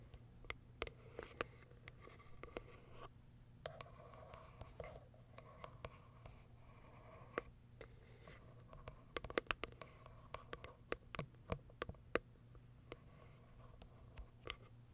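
Long white nails tap and scratch the top surface of a small pale pink cardboard box. Quiet, sharp, dry clicks come at an irregular pace, clustering more densely toward the end, over a soft papery scratching and a steady low hum.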